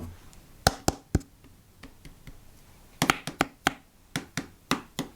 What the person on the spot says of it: tap it on the get it close and on the top of it like this seems a lot more harder yeah yeah the plastic is harder